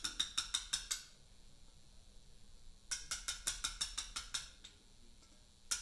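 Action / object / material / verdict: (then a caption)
strike / steel chisel struck with a mallet on a limestone block / limestone / none. A carver taps a chisel with a round mallet along the top edge of a large, solid Portland limestone memorial block. About seventeen short, bright, clicking taps come in bursts: a quick run of six, a pause, a longer run of about ten, then a single final tap. Each tap dies away almost instantly with no ring.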